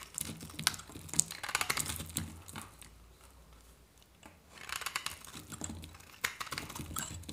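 A metal knife blade scrapes and shaves a hand-held, solid white dry soap bar, curling flakes off it. It makes dense, bright, crackly scraping with sharp clicks. A quieter lull in the middle separates two bursts of shaving.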